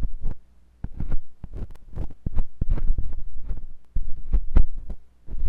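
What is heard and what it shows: A metal curved carving tip with a wooden handle scratches and scrapes inside the ear canal of a white silicone binaural microphone ear. It produces a rapid run of deep, muffled thumps and rumbling scrapes, heavy in low bass with a steady low hum underneath. Brief quieter gaps break up the sound.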